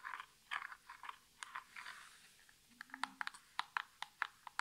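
Natural nails tap quickly on the top face of a small, hollow, printed cardboard nail polish box held in both hands. The taps are dry and short, with a papery mid-range crunch, a bright edge and almost no low end or ring. Early taps come in soft, scratchy clusters, and later ones sound crisper and more separate.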